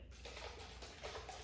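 A closed container holding more water is shaken, giving soft sloshing, swishing water sounds in repeated surges over a low steady rumble. It makes the same sound as the container with only a small amount of water, and the shaking can be felt in the hands.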